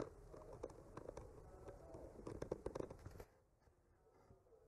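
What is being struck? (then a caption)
Painted wooden panel. A bamboo skewer tip gently traces and scratches over a solid, flat wooden panel painted with trees. Soft, steady scraping with small ticks and clicks runs for about three seconds, then stops abruptly, leaving near silence.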